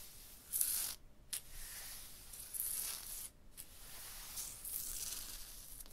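A hand and fingers rub and slide over a textured, striated rough stone block wall. The result is quiet, bright, hissy scraping strokes with short pauses between them, high-frequency friction over a faint low rumble.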